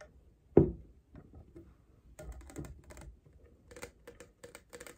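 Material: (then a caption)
Plastic. Long painted nails tap and scratch a tall, clear, double-wall plastic Starbucks cold cup with a printed California design and a blue lid and straw; the cup is hollow and appears empty. One sharp, hollow knock stands out early, followed by quick, light clicky taps and brighter scratchy ticks that grow denser toward the end, as the lid is opened.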